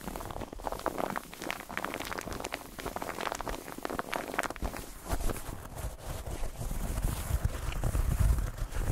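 Fingertips tap and scratch a white rectangular textured foam bathtub pillow with a bumpy, soft, padded plastic/foam surface. Rapid, muffled, low-heavy taps and scratchy rustles run continuously, with short dull thuds that die away quickly and grow slightly louder toward the end.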